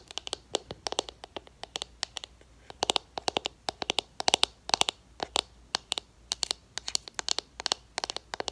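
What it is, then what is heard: Plastic eyeshadow compact tapped with nails. Long acrylic nails tap and scratch the rim and pressed shimmer powder surface of a small, round, black plastic MAC eyeshadow pot, which is open. The result is a rapid, irregular run of dozens of sharp, bright clicks and short scratches with almost no ring or low end.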